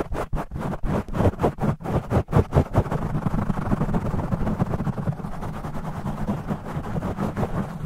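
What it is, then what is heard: Foam microphone windscreen being scratched. Short nails and fingertips of both hands scratch a black foam microphone windscreen, with the audio sped up two times. The result is fast, rough, low, rumbling scratching, in separate bursts at first that blur into a dense, continuous rasp.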